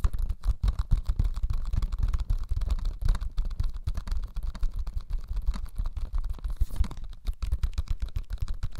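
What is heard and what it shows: A small, flat, yellow cellulose sponge, porous and soft, is held in both hands close to the mic and squeezed and scratched with the fingertips. The result is a rapid, irregular stream of short, dry crackling and scratching bursts with a deep, low body. Every burst cuts off almost at once.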